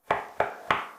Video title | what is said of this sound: Remodeling Surprises: Learning From Our Mistakes in a Łódź tenement (Part 4) | Here it doesn't sound hollow.